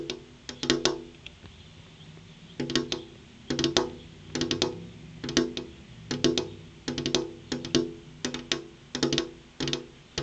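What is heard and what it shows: Long purple-painted fingernails tap rapidly on a large, flat, solid glass window pane. The taps come in quick clustered bursts of bright, clicky strikes with a faint hollow tone underneath. Each tap dies away almost at once, leaving short pauses between the bursts.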